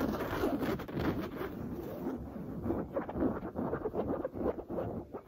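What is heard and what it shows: Long blue nails scratch fast across a soft, stuffed printed cotton canvas pillow with a smooth cream cover printed with oranges. The result is a steady, dense run of dry, rasping scrapes with quick bursts of louder strokes, centered in the low-mid range with little low rumble.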